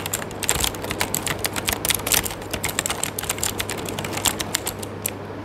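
Fingertips of one hand type continuously on an RGB-backlit mechanical keyboard with plastic keycaps. Rapid, bright key-press clicks and tapping follow each other with very short decay, over a faint low steady hum.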